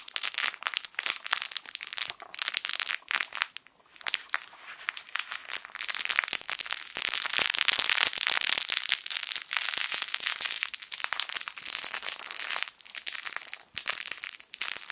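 A small, soft, yellow sun-shaped plush fabric crinkle toy with a crinkly lining inside, hollow or stuffed, is squeezed and crumpled with the fingertips of both hands. The result is a dense stream of bright, dry crackling crinkles with almost no low end. The sound dips briefly around four seconds and is loudest around seven to nine seconds.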